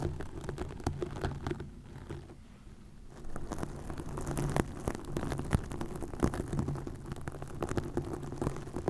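Long acrylic nails scratch and tap green plastic mesh netting stretched over a hollow, round microphone head. The result is a dense, low, rumbling patter of crackling scratches and sharp taps, with a quieter stretch partway through.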